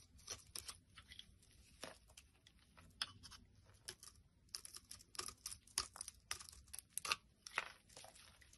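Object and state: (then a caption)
Soap bar being carved. A solid white soap bar held in the hand is carved and scraped with a blade, peeling off thin shavings. Quiet, dry, bright scraping and crackling strokes come in quick irregular bursts, each short and sharp with almost no ring, and very little low end.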